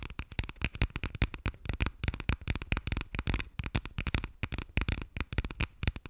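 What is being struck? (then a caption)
Textured passport cover. Long nails rapidly tap and scratch the textured cover and page edges of a burgundy passport. The result is a dense run of dozens of short, dry clicks with a soft low thump and bright, crackly edges, with no ring after each tap.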